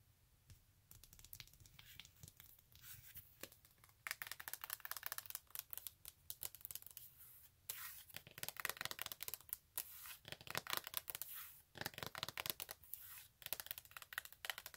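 Long acrylic nails scratch quickly across the glittery toe strap of a silver glitter fabric stiletto high-heel sandal held up in the air. Dense, fast, bright scratching and crinkling bursts come in quick runs with short pauses between them, mostly high-pitched with little low end, and each stroke stops dead without ringing.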